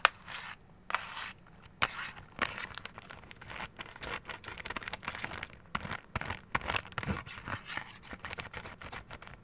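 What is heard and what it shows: Long gold claw nails tap and scratch the sides and face of a hollow, orange and lemon printed cardboard candy box held in the hands. Quick, dry taps mix with crisp, bright scratching strokes. Each sound dies away almost at once, with little low-end body.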